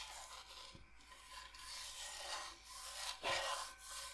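Long painted nails scratch and rub across the surface of a flat, solid, thin light-wood cutting board shaped like Michigan, held upright in one hand. The result is a steady, dry, bright rasping with almost no low end, swelling and easing with each stroke, and the loudest scrape comes near the end.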